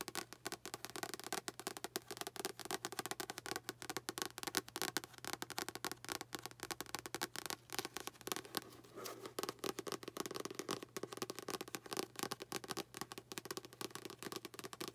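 Long fingernails tap rapidly and continuously on the card cover and spine edge of a blue paperback novel held in both hands. The quiet, bright clicks are short and dry, over a faint steady low hum.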